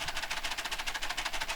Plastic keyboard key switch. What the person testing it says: you can even hear it rattle when I shake it about